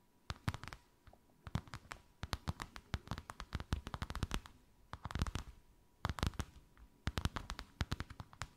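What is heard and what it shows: Long white acrylic nails tap and scratch a thin white faux-leather sheet with a snakeskin emboss, draped over something rounded. Quick clusters of short, dry, soft taps with a dull low thump and brief scratchy edges come in bursts separated by short pauses. A faint steady tone sits underneath.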